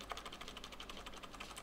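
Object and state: Plastic mechanical keyboard, nothing loose inside.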